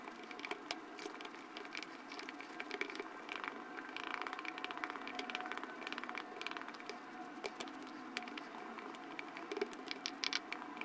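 A light-blue plastic spatula repeatedly pokes and scrapes the surface of pink and yellow foam slime in a small clear plastic jar held in hand. The result is a steady stream of soft, wet squishes and crisp crackling pops, bright and airy with no low rumble.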